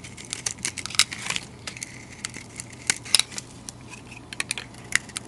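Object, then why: Bar of soap shaved with a knife blade. A utility knife blade shaves powdery flakes off a solid rectangular bar of white soap with a green glitter coating, held in a hand with long dark nails. A quick run of short, crisp, bright scratches and clicks rises over a faint steady low hum, each one dry and cut off almost instantly.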